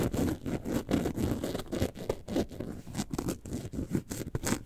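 Long nails scratch the textured front of a hollow, lemonade-carton-shaped yellow and white faux leather bag held upright. The result is a quick, uneven run of soft, dry scraping strokes with a dull, low body and faint bright hiss at the edges of each pass.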